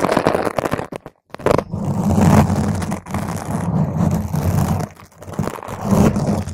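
A round purple foam microphone cover is scratched with long green nails from both hands, with fast fingertip-and-nail scratching on top. The result is a dense, close, muffled scratching and crackling with a heavy low rumble, broken by a short silence near the start and a brief dip later on.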